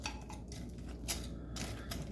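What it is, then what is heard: Crispy fried chicken wings. Crispy fried chicken wings are stirred in a bowl of sweet chili glaze, producing a series of light crackling, scraping bursts as they move against the bowl. A low, steady hum runs underneath the crackling throughout.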